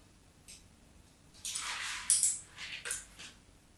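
A knife's tip scores the surface of a solid, embossed white bar soap held under a hand. Bright, crisp scraping strokes come in short, irregular bursts, with the longest and loudest in the middle of the clip, over a quiet background.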